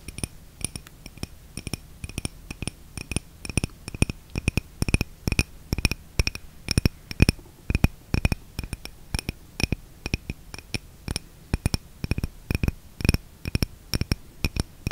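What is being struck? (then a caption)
Small glass jar filled with candle wax. Long red-painted nails rapidly and repeatedly tap a small clear glass jar, a candle holder filled with red candle wax, held in the hand. Each tap is a short, dry click with a bright glassy chink that dies away almost instantly, repeating in quick, uneven bursts over a faint low hum.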